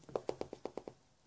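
The built-in plastic screen cover of a LifeProof Fre case on an iPhone 5S is tapped seven times in quick succession. It gives short, dry ticks pitched around 460 Hz that sound like glass even though the layer is plastic rather than the phone's actual glass screen.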